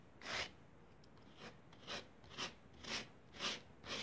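The edge of a blue plastic spatula scrapes across a flattened layer of pink kinetic sand on a foil paper plate, drawing parallel grooves. Seven short, bright, gritty rasping strokes are heard, spaced roughly every half second with quiet gaps between them.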